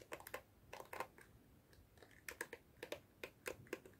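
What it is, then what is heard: Plastic detangling hairbrush. A hand-sized black plastic detangling brush with dense plastic bristles is held in both hands while long fingernails scratch and flick the bristles. The result is quiet, dry, crisp plastic ticks and clicks in uneven bursts. Each click is sharp with a bright top and dies away almost instantly, with short pauses of faint hiss in between.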